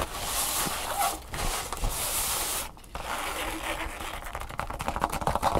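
Long fingernails of both hands scratch and rub a thin red nylon drawstring bag lying flat on a table. The result is a steady, broadband scratchy rustle with a brief quiet pause near the middle. The scratching then grows quicker and sharper toward the end.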